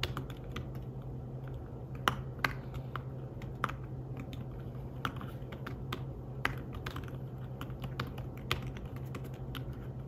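Fingertips tap the keys of a slim fabric-covered tablet keyboard while typing, producing soft, short clicks with a few sharper, brighter taps standing out. A steady low hum runs underneath throughout.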